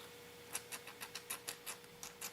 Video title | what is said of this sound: Wild & Free 30 Minute Painting: You can do it too! | it sounds empty. I used it up.